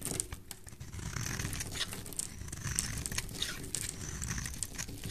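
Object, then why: Bar of soap shaved with a metal blade. A rectangular solid yellow bar soap, held in hand, is shaved into curls with a metal blade. The result is a steady, dense scraping and crinkling, with bright high streaks over a low rumble.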